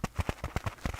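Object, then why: Kitchen scrubbing sponge. A cat-shaped scrubby sponge scourer used for washing dishes is tapped with quick, irregular taps. Each tap is a soft, dull, low thump with almost no ring, and the overall sound stays quiet.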